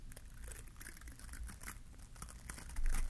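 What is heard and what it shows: A fingertip and nail scratch the glittery plastic bristles of a small green bottle-brush Christmas tree held in one hand. The result is a continuous, quiet crinkly rustle with bright, brittle scratchy bursts over a low rumble. The scratching grows louder in the final moments.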